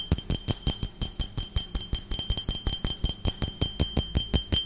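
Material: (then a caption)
Glass. A hollow, empty clear glass tumbler, held in one hand, is tapped rapidly with the fingertips and nails of the other hand. About 25 quick, somewhat uneven taps each give a dull low knock with a short, bright glassy clink.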